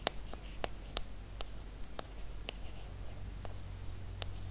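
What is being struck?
Aluminum and glass smartphone.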